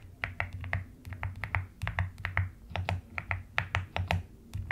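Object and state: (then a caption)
Plastic mechanical keyboard being typed on. Long nails type and tap on the pastel plastic keycaps of a mechanical keyboard with a white case. Quick, sharp clicks with a bright edge sit over a low, soft thump. The keystrokes follow one another at an uneven pace.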